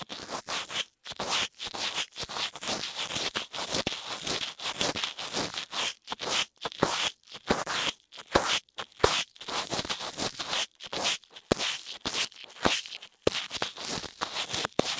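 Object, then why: Silicone ear of a dummy-head microphone. A thin pink lipstick applicator, held in fingers with long nails, scratches and rubs inside the left ear canal of a soft silicone ear on a white dummy head that holds the microphones. The result is a dense, bright scratching and scraping with crackly texture, coming in rapid bursts separated by brief silent gaps, with very little low end.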